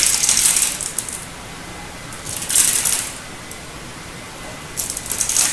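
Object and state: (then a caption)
Hard bar soap crumbling. A utility knife blade crosshatch-cuts a turquoise solid hard soap bar, and cubes crumble off with crisp cracking. Three bursts of bright, high, gritty crackling are separated by stretches of quiet hiss.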